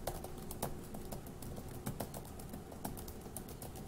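Fingertips of one hand tap the plastic keys of a dark grey laptop keyboard in steady typing. The result is a quiet, continuous run of soft, dull key clicks with a low, thumpy body and very little bright edge, each tap dying away quickly.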